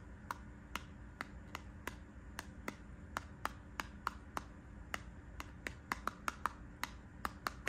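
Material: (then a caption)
Plastic, cardboard. Fingernails tap and scratch across a small yellow Burt's Bees multipack of lip balms with a cardboard backing and plastic blister, held up in one hand, with a leather bag sitting untouched behind it. A steady series of sharp, dry clicks with bright, snap-like tops rings out over a low, constant background rumble, each tap dying away almost instantly.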